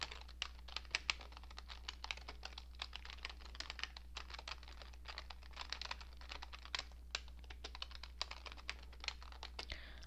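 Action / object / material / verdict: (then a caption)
tap / plastic computer keyboard / plastic / none. A cream-coloured plastic computer keyboard with hollow keycaps is typed on steadily with fingertips and long nails. The continuous, bright, sharp key taps die away almost instantly over a constant low hum.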